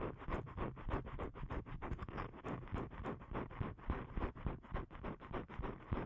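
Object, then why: Thin paper card. Fingernails repeatedly scratch the face of a thin, flat blue paper card (cardstock) held in both hands. The result is a quick, somewhat uneven run of dry, rasping strokes, about three to four per second, each short with almost no ring. The sound is dull and heavy in the low end with little brightness.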